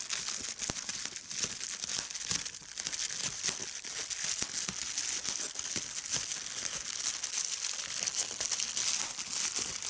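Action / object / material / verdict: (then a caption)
scrape / polyethylene bubble wrap sheet / plastic / none. A large sheet of clear polyethylene bubble wrap lying over a striped cloth is crumpled and pinched by a hand with long red-painted nails, popping the bubbles. Dense, bright crinkling runs throughout, broken by many sharp, snappy pops.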